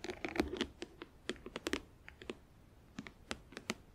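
Long acrylic nails tap rapidly on a closed, hollow, clear plastic compartment organizer filled with press-on nails, then fingertips scratch across its lid. About seventeen quick, dry plastic clicks sound in irregular bursts, each with a hollow body around 310 Hz, a bright edge, and almost no ring. Faint scratchy texture fills the quieter gaps between them.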